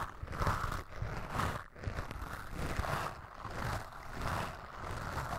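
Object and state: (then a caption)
Foam microphone windscreen brushed. The white bristles of a bamboo toothbrush, held in the fingers, brush and scratch across a soft, porous black foam windscreen on a microphone. Close, muffled scratching strokes swell and fade in a steady rhythm over a deep, rumbling low end.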